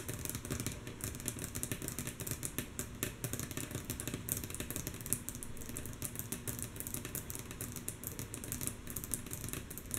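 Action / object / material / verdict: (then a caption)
tap / wooden tabletop / wood / none. Long natural fingernail tips of both hands tap rhythmically and mostly softly on a solid, flat, light wooden tabletop. A dense, steady stream of quick, dry clicks with bright edges sits over a low, continuous rumble, each tap dying away almost instantly.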